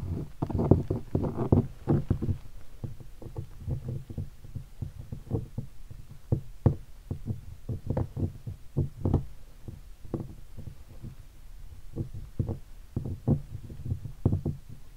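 A fingertip taps and knocks on a hollow guitar hard case covered in black leatherette and stickers. It makes a steady run of dull, low, hollow knocks that die away almost at once, with a quick cluster of taps at the start and then more spaced, uneven taps.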